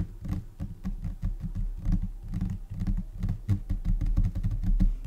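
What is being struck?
Laminated particleboard desk top.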